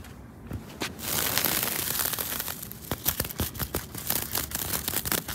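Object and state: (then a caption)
Dried straw reed fence. Long pointed nails and fingers scratch and rub through a bundled, dried straw-and-reed thatch fence panel outdoors, its surface dense and fibrous. The result is a dry, bright, crackling rustle with a tearing, crinkly texture and sharp scratchy flicks that come in quick bursts.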